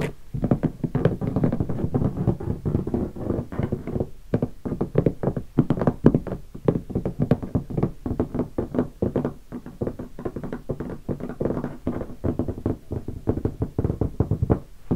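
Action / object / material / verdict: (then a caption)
tap / hardshell guitar case / hard plastic / none. Fingertips of both hands tap rapidly on the lid of a closed, large black hardshell guitar case covered in stickers. The result is a continuous, uneven patter of short, dull, hollow knocks, heavy in low tones and with almost no bright content. Each tap dies away almost instantly, with only a few brief pauses.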